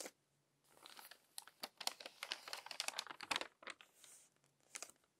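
Long-nailed fingers flip the wrinkled pages of a crumpled paper magazine. Dense, bright crinkling and crackling comes in uneven bursts with short quiet gaps between them, along with a few sharp crisp snaps, and the clip ends in a soft rustle.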